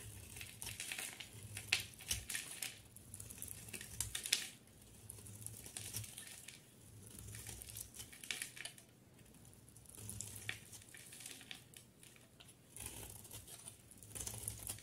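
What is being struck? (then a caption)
Bar of soap. A solid green bar of soap with pink edges, held in one hand, is cut and scraped with a utility knife blade into green chunks and flakes. The clip is full of bright, crisp crackling and crunching scrapes that come in irregular bursts, with quieter gaps between strokes.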